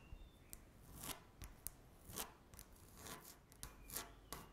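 Long natural nails scratch a flat, solid speckled laminate tabletop. About twelve quick, dry scratching strokes follow one another at a quiet level. Each is bright and brittle with a faint low thud and almost no ring.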